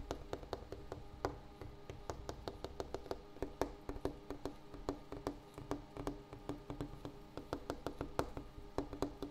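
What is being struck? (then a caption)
Wooden table. A wooden table surface is tapped repeatedly with quick, irregular taps. Each tap is short and dry with a hollow tone near 285 Hz and a faint bright click, over a steady low rumble.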